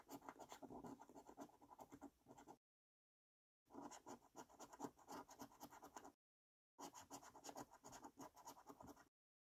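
A coin rapidly scratches the latex number rows of a thin yellow £500 Loaded paper scratchcard held flat. It makes three bursts of quiet, dense, gritty scraping strokes, separated by short silences, with the energy centred in the low-mid range and faint bright edges.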